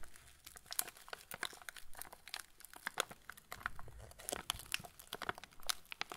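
A full TUC cracker packet in yellow plastic film is held and tilted while fingertips rub and squeeze the wrapper. This produces dense, crisp crinkling with many sharp, bright crackles over a soft rustle. Each snap stops instantly, with no ring.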